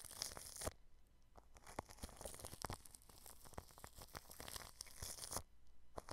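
The bristles of an orange-handled paintbrush are brushed across clear plastic cling film stretched over a round microphone and its mesh grille. This produces a close, dense crinkling rub with bright, hissy friction and many sharp crackling pops. The rubbing is louder and fuller at the start and near the end, with a thinner, softer crackle in between.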